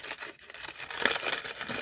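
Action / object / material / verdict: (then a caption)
shake / small envelope of glued tissue paper / tissue paper / crispy. A small handmade envelope made of tissue paper glued together is crinkled in the hands, giving a continuous crisp, dry crackle. The sound is bright and papery with almost no low end, confirming how crispy the glued paper is.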